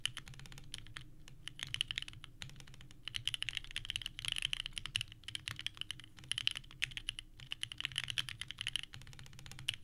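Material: ABS plastic.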